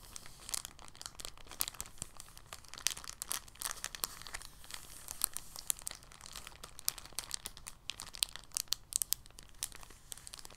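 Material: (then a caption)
Plastic. An empty, thin clear polyethylene bag is held up and gently crinkled with the fingertips. The result is a steady, quiet stream of dense, bright crackles and sharp little snaps with almost no low end, each one dying away instantly, with occasional louder pops throughout.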